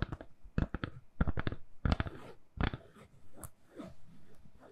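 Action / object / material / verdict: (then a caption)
tap / smartphone in a soft silicone case / silicone / none. A handheld smartphone in a purple (lilac) soft silicone case, solid in the hand, is tapped with long nails. The result is irregular clusters of quick, dry clicking taps with almost no ring, heavy in the low end. The taps soften into quieter, muffled tapping toward the end.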